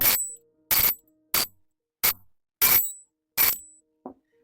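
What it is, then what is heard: Genuine silver coin (reference). Genuine silver coins are dropped one at a time onto other silver coins as a reference sound for comparison with a suspect King John penny. Six bright, high-pitched metallic clinks ring briefly with a shimmering top end, followed by a faint, softer, lower clink.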